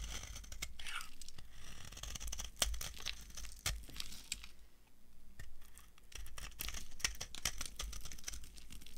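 An old, solid, brown, translucent dry soap bar is carved with a metal knife, leaving a pile of shavings. The clip is full of dry, crunchy scraping and crackling, with many sharp, bright snaps over a low steady hum.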